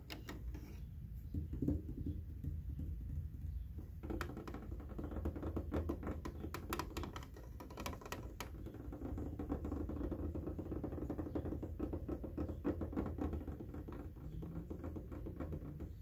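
Fingertips and short nails tap and scratch along the white plastic top edge and upper vent slats of a large, hollow window air conditioner. The result is a rapid, dull patter of hollow plastic taps with light scratching, over a steady low rumble.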